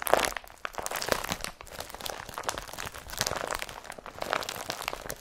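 A blue IKEA BRATTBY carrier bag, an empty woven polypropylene tote, is pressed, crumpled and lifted by hand. A steady run of dry crinkling and crunching plastic rustles, with sharp crackles and bright, high hiss but almost no low end.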